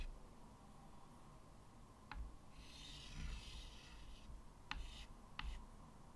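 White chalk draws lines across a medium, flat chalkboard in a wooden frame. A long, breathy scratching stroke is heard along with three sharp, bright chalk taps against the surface, over a low, steady background hum.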